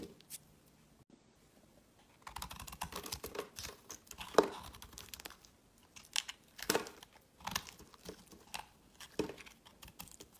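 A solid, pale green, embossed, hand-sized bar of soap is held in the hand and shaved with a metal utility knife blade. After a quiet start, dry scraping and carving crackles come in irregular bursts of crisp, crumbly bright rasps, with a sharp peak just past the four-second mark.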